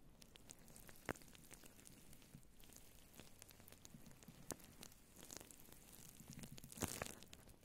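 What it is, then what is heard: Faux fur microphone windscreen being scratched. Long blue nails scratch and rub a grey-white faux fur windscreen on a microphone with both hands. The result is a quiet, steady crackling rustle, like sizzling or light rain, with a few sharper bright scratches standing out.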